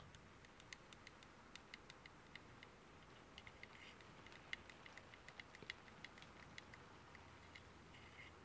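Fingertips tap the lid and edges of a small, closed, varnished and stained wooden pen box with a brass clasp, hollow and holding pens, resting on a wooden table and held at both ends. Quiet, irregular, dry clicking taps with a bright tick near 2 kHz die away almost instantly, some landing harder than others. A faint steady hiss and low rumble run underneath.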